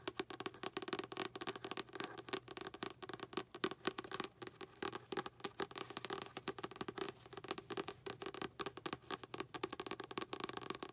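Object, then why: Paperback book with paper cover. Long pink acrylic nails tap rapidly on the back paper cover of a light blue paperback book with a goldfish bowl image on it. Quick, light, clicky taps run in a dense, uneven stream with a bright edge and a steady midrange tone near 380 Hz. Each tap stops dead with no ring.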